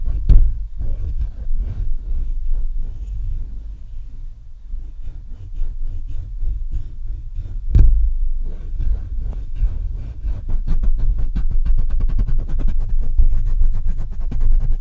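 Fingertips of both hands tap and scratch the metal mesh grille and sides of a black Blue Yeti microphone. Heard up close, it makes muffled, low thumps and rubbing with a steady low hum, plus a couple of sharper knocks. The taps grow quicker and denser toward the end.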